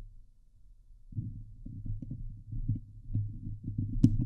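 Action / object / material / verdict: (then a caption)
scrape / steel mesh microphone grille / steel mesh / none. Long glitter nails on both hands scratch a hollow steel mesh microphone grille. A quiet low hum gives way after about a second to dense, muffled low scratching and thumping that is boomy and close. A single bright, sharp click stands out near the end.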